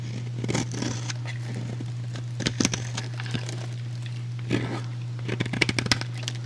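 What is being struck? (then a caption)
Bar of soap cut with a blade. A metal utility blade shaves a solid, rectangular, hand-sized light blue soap bar with an embossed logo into flakes and cubes. Crisp, crackly scraping and cutting bursts come in clusters over a steady low hum.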